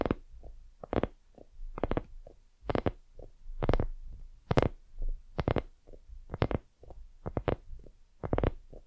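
Long fingernails on both hands tap and scratch a hollow, white soft silicone dumpling lamp. About nineteen short, dull, low taps land at an uneven pace, with quieter scratching between them. Each tap stops almost at once with no ring.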